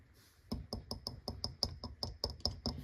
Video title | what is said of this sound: How to make Sourdough starter | it sounds Hollow at the bottom so that's a good sign that the starter is active